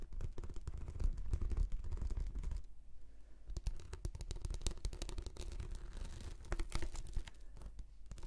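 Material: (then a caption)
Plastic. Long nails scratch across the textured surface of a rolled, translucent plastic anti-slip mat shaped into a hollow tube, making a dense run of quick, dry scraping strokes. The energy is heavy in the low end, with brief bright clicks. The scratching thins into a quieter gap just before the three-second mark, then picks up again and continues to the end.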